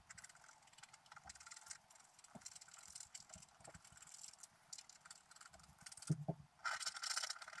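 A wooden stylus scratches the coating of a flat black coated scratch-art paper sheet resting on a table. Irregular dry scratching strokes carry bright, hissy upper content and soft low thumps. A louder, brighter burst of scraping comes near the end.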